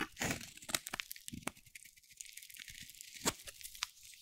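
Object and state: Dry soap bar being carved.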